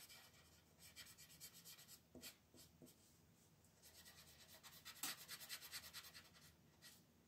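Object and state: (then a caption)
Colored pencil scratching on paper. A green wooden colored pencil is rubbed and scratched back and forth across a thin printed paper page of a coloring book lying flat on a dark wooden table. The result is a soft, bright, papery scratching in quick, uneven strokes, with a few louder scrapes standing out.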